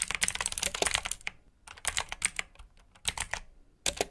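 Fingertips with short nails type on a full-size black plastic mechanical keyboard with RGB backlit keycaps, clicky blue switches and hollow key housings. Bursts of sharp, bright clicks rattle along with short pauses between them, each keystroke dying out almost instantly.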